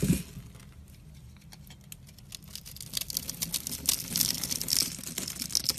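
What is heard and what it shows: A metal box-cutter blade scores a grid into a solid rectangular yellow bar soap held in the hand, then slices off layers of cubes. A quiet start gives way to dense, bright scraping and crisp crumbly crackles over a faint low rumble, with sharper snaps in the second half.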